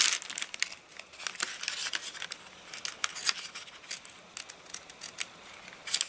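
Hands rub across the spread of an open, rain-dried paper catalogue with stiff, wavy pages, and fingers crumple the page edges. The result is a dense run of bright, dry crinkles and sharp crackling snaps with almost no low end, each burst dying away quickly.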